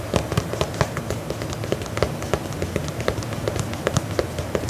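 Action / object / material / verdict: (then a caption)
tap / faux leather boot upper / faux leather / none. A black faux leather lace-up combat boot is held upright while fingernails tap and scratch the side of its upper. A quick, steady run of short, dry taps with a soft scratchy rustle underneath follows, each tap dying away almost instantly with a muffled, low-weighted body.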